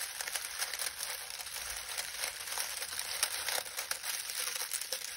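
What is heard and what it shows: Both hands press and knead a pile of dry lemon balm leaves, crushing and crinkling them with the fingertips. A steady, quiet, bright crackling rustle runs throughout, with frequent small crisp bursts and almost no low end.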